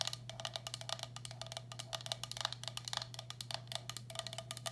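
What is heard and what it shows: Long black acrylic nails tap the base and rim of a medium, hollow, empty turquoise speckled glazed ceramic bowl held upside down. About thirty quick, bright clicks with a high ring die away almost instantly over a steady low hum.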